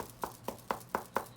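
Knuckles knock steadily on an older, lightly padded hockey glove, producing a series of quiet, short, dull taps centered in the midrange with almost no ring. The faint sound indicates the glove has less protective padding than a pro-level glove.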